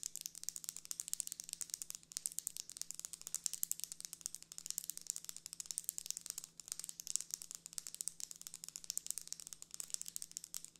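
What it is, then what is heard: Plastic folding hand fan. Long red nails rapidly tap and scratch the plastic guard sticks and folded edge of a closed pink plastic folding hand fan with a printed paper leaf, held upright. The result is a dense, fast stream of bright, dry clicks with rattling and crinkling textures, each one very short, over a faint steady low hum.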